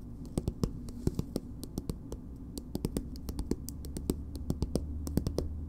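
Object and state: Plastic cosmetic tube.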